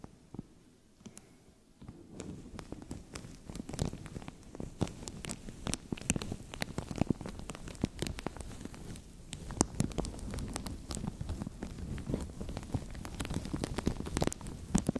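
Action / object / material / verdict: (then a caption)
scrape / thin plastic bag / plastic / none. A translucent thin plastic bag stretched over a microphone is scratched and crinkled by fingertips. After a quiet first two seconds, it breaks into dense, continuous crackling and rustling with sharp snapping ticks. The crinkling has a heavy, muffled low rumble underneath.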